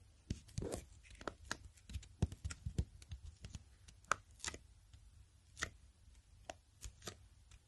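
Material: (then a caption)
Cardboard, paper. Short nails and fingertips tap on the solid hardcover of a black Moleskine watercolour notebook with a paper band, held in the hands. Irregular dry taps and brief scratchy clicks, some faster in clusters, with very little ring, over quiet low background noise.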